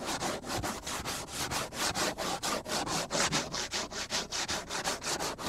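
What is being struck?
Plastic cutting board.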